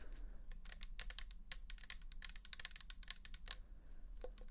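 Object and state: Plastic bottle tapped with nails.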